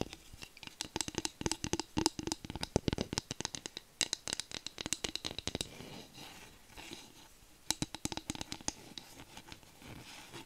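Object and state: Bamboo spatula being tapped and scratched.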